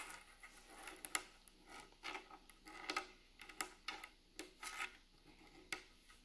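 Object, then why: Wooden plank table top. Long nails and fingertips tap and scratch along the grain of a large, solid, rustic wooden plank table top with seams. Short, dry, bright clicks and taps mix with soft scraping rubs in an irregular, unhurried pattern, centered around 2 kHz with almost no low end. Each hit dies away almost instantly.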